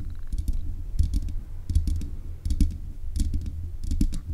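Long nails tap rapidly on the hollow mesh grille of a black metal desk microphone. The result is bursts of dull, low thumps with faint bright clicks on top, arriving in quick, irregular clusters.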